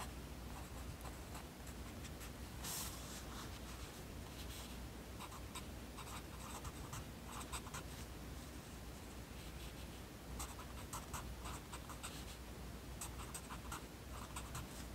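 A yellow wooden pencil writes continuously on the page of an open lined paper notebook, its tip scratching across the paper. Soft, bright scratchy strokes come in irregular bursts over a quiet, steady low hum.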